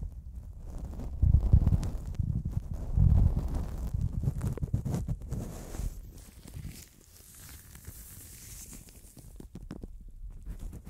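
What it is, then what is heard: Gloved fingers rubbing metal microphone capsules. A latex-gloved hand rubs and scratches with its fingertips on the two small hollow metal X/Y microphone capsules of a Zoom handheld recorder, while a black knit cotton glove brushes them, producing handling noise on the mic itself. The sound is a dense, muffled low rumble of scrapes and soft thumps, with louder bursts early on before it settles into a quieter, steady brushing.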